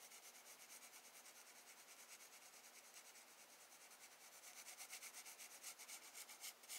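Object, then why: Graphite pencil on paper sketchbook page. A wooden graphite pencil makes light, sweeping scratch strokes on a spiral sketchbook page of drawing paper, shading the light beams beside a lighthouse drawing. The quiet, bright, papery hiss comes in rapid, fairly steady back-and-forth strokes that grow louder and more distinct toward the end.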